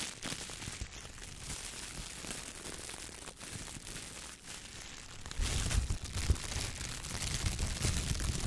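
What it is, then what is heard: Plastic shower cap. A clear, thin plastic shower cap is crumpled in one hand, then held open and stretched between both hands while the fingers squeeze and crinkle it. Steady, bright crinkling and rustling fill the first five seconds. After that the crackling grows louder and heavier, with more low-end rumble, through to the end.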